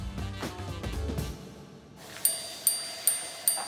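Over a fading stretch of low, soft music, the repeater hammers of a Franck Muller minute-repeater tourbillon wristwatch strike the welded steel wire gongs at their base, producing four bright, high-pitched metallic chimes that ring briefly. The hour gong (blue) and the minute gong (red) are different lengths, so they ring at different pitches.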